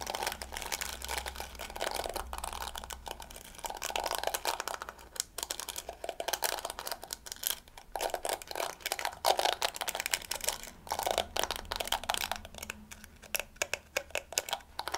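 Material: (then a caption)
Plastic. Long nails scratch and strum across the yellow flexible plastic bristles of a small, hand-held round hairbrush with a pink plastic body. The result is a dense, continuous stream of quick, dry, crackling ticks and scrapes with a bright, papery edge. It swells and thins in bursts over a faint low hum.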